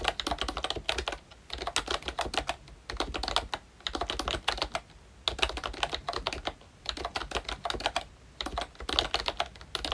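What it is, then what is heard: Plastic membrane keyboard being typed on. A full-size ROYCHE Disney Mickey Mouse retro membrane keyboard with round plastic keycaps is typed on continuously with the fingertips of both hands. Rapid, bright plastic clicks come in dense bursts separated by brief pauses, each tap dying out almost instantly with little low end.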